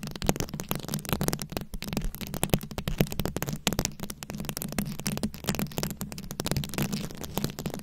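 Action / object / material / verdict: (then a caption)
scrape / microphone head covered in plastic rhinestones / plastic / none. Very long acrylic nails scratch and tap a fist-sized round microphone head covered in glued-on plastic rhinestones and beads. The result is a steady stream of dense, rapid crackling clicks and scrapes over a low, boomy rumble.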